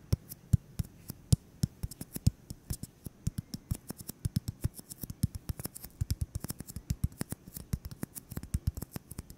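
A solid white styrofoam ball about 8 cm across is held in the hands and tapped and scratched with fingertips and short nails. This produces a quick, uneven string of dozens of short, dry taps, each a soft low thump with a faint bright tick and almost no ring. Quieter scratchy rustles sit between the taps.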